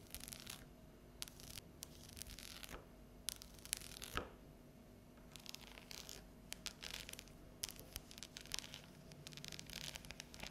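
Long yellow nails tap and scratch the top of a thin, solid, unwrapped bar of dark chocolate with scored segments lying flat on a stone countertop. Bursts of bright, crisp scratching alternate with sharp, quick taps over a quiet low background hum.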